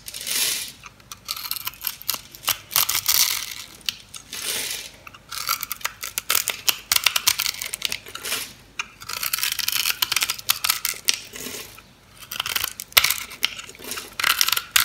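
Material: Soap.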